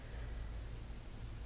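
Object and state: Nothing is struck.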